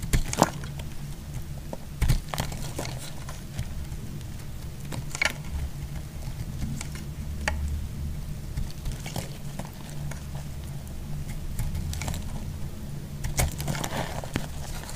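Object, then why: Bar of soap shaved with a knife blade. A solid yellow bar of soap held in the hand is shaved with a utility knife blade, giving short, sharp scraping cracks and crackles scattered over a steady low hum. A few louder bright snaps stand out near the start and toward the end.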